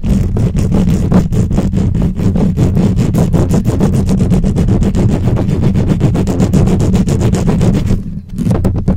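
Long acrylic nails of both hands scratch quickly across the hollow metal mesh head of a black microphone. The sound is a dense, rapid stream of rasping strokes, heavy and boomy in the low end with a steady hum-like tone underneath. It continues almost without pause, with only a brief dip near the end.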